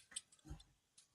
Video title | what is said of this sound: Deluxe InArt Joker Unboxing! | Listen to those gloves tapping metal. That iconic sound.